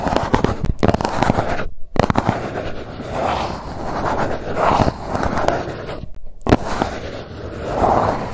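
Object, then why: Cardboard box. Long nails scratch and tap the embossed surface of a hollow grey GUCCI cardboard gift box held upright. A dense, dry crackling scrape with soft, papery mid-range swells is broken by two brief silences and sharp taps.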